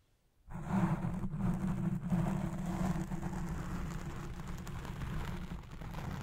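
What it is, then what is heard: Foam microphone windscreen being scratched. After a brief silence, fingertips and long nails scratch the black foam windscreen on a recording Blue Yeti Pro microphone. The sound is a continuous, dense, muffled scratching and rustling, heavy in low rumble with almost nothing bright, and it stays loud and steady to the end.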